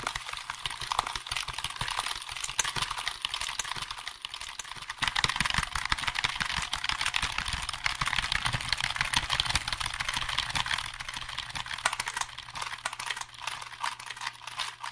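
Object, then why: Plastic computer keyboard. A hollow black plastic computer keyboard, held beside the microphone, is typed and tapped quickly with fingertips. The result is a dense, uneven stream of sharp, bright plastic clicks that decay almost instantly, with a faint steady low hum underneath.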